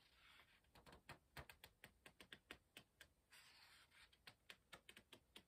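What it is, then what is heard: Paper pages of a hardcover book. Fingertips lift the thin printed paper pages of an open hardcover book and let them flick over while turning them. The result is a quiet run of 23 crisp, bright papery snaps, each dying away almost instantly, with a soft rustling hiss between them.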